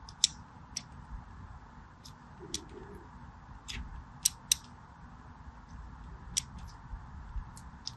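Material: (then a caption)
Soap. A small black blade scores lines across the top of a solid purple and white striped bar of soap held in the hand. Short, bright scratching clicks sound at irregular intervals over a steady low hiss.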